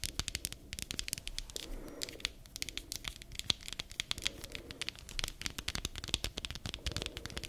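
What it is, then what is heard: Rubber spiky massage ball. Long nails scratch and flick the spikes of a palm-sized black spiky massage ball made of rubber or plastic. A dense, fast run of crisp, bright clicks and scratchy crackles follows, each snap dying away almost instantly over a faint low rustle.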